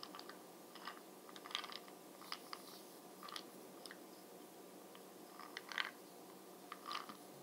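Fingernails tap and scratch the brown glossy plastic lid of a small bronzer bead jar held in the hand. Quiet, brief, bright clicks and scratchy crackling bursts come in irregular clusters over a steady soft hiss. Each one stops at once with no ring.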